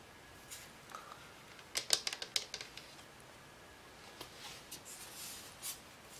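A small hollow cylindrical lamp, with a white frosted-plastic shade and a silver aluminum-look base, is held in both hands and tapped with long nails. Scattered soft ticks give way to a quick flurry of sharper, bright clicking in the middle, then a few more light taps. Each click is dry and short, with almost no ring and no low end.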